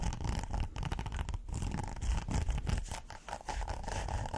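Fingernails scratch the textured surface of a thin, flexible, flat red hexagonal silicone pot holder. The result is a steady, quiet, rapid scratching with a dull low rumble, a faint band of mid-range hiss, and a few brief dips in loudness.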